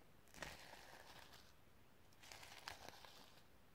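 Long nails scratch across the iridescent sequins on a sequin-covered notebook cover in two separate passes. Each pass gives a quiet, crinkly rustle with bright, glittery clicks over a low background.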